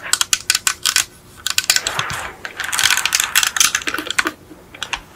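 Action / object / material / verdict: tap / die-cast metal toy car / die-cast metal / none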